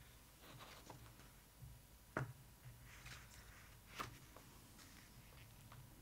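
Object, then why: Glossy paper photo book pages. Long acrylic nails tap and scratch the glossy paper pages of an open photo book, with a page turned in between. The soft, quiet scratching and paper rustle are marked by two sharp, bright taps, over a faint low hum.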